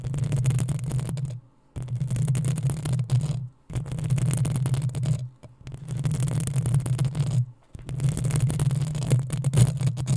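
Long acrylic nails of both hands scratch the hollow metal mesh head of a black desktop USB microphone, producing a dense, rough scraping roar with a strong low hum around 137 Hz. The scratching runs in long bursts separated by brief silent gaps, with a faint bright sizzle above.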